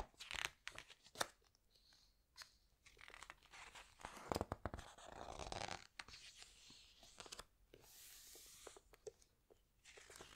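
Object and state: Glossy paper book pages being squeezed and turned.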